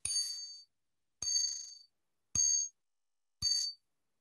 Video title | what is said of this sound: #MusicMatters Keynote: Bowers & Wilkins with Eric McBride | i want you to listen to how it rings okay you can actually hear it ringing